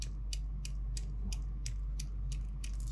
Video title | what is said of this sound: 9x11 yumurta kesim Tespih, kırık imame, palafiren, d-20 Palamalzeme 1814 | Ses veriyorum ama daha sertleşmedim. Çıtır çıtır ses çıkarmıyorum henüz diyor.